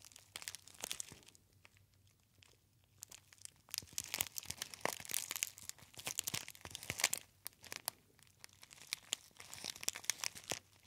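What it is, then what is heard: Foil tea bag being crinkled. A small gold metallized foil tea bag pouch with a label is crinkled and rubbed by fingertips close to the ear. Bright, crisp crackles and rustles come in dense bursts with short quiet gaps, and there is almost no low end.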